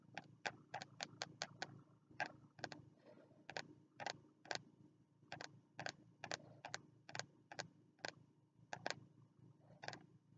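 Fingertips tap on the stiff cover of a small green spiral-bound notebook held upright in both hands. About 27 short, dry, bright clicks come in quick, uneven bursts with brief pauses, each dying away almost instantly over a faint low hum.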